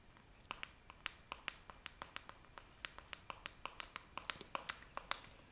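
Long nails tap the body and red plastic lid of a clear plastic jar filled with pink pieces, close to the microphone. A rapid, uneven series of short, bright clicks with a hollow plastic tone sounds over quiet background hiss, each dying away almost instantly.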